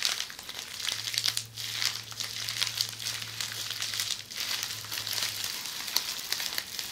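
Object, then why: Plastic bubble wrap. Long polished fingernails scratch a roll of red plastic bubble wrap held in the hands, making a steady, bright crinkling and scratching with quick ticks. A faint low hum sits underneath for most of the clip.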